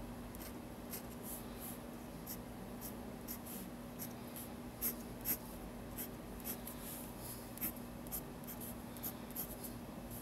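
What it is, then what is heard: Pen scratching on a paper sketchbook page. A fine-tip pen inks lines on the white paper page of a spiral sketchbook, scratching lightly across the paper. Soft, quiet strokes with brief bright, scratchy accents run over a steady low hum.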